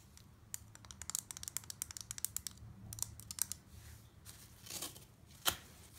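A serrated knife repeatedly chops a pile of small crumbled chunks of green floral foam on a wooden deck. The result is a quiet run of crisp, bright crunching clicks and scratchy rasps, with a louder crunch near the end.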